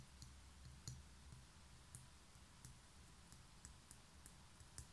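Long nails tap and scratch the outer wall and edge of a small, hollow, grey concrete pen holder held on its side. About nine quiet, sharp, bright clicks stand out over a steady low rumble, each dying away almost at once.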